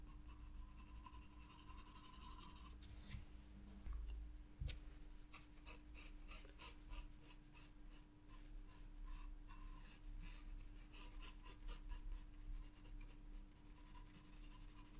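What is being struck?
Graphite pencil on sketchbook paper.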